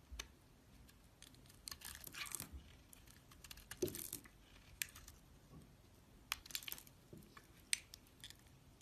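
A hand-sized, solid red square bar of soap with an embossed flower, held with long nails, has its surface scraped and peeled with a metal snap-off utility blade. Quiet, bright scraping strokes and crisp crinkly peeling come in uneven bursts with sharp little clicks between them. The sounds stop short with no ring.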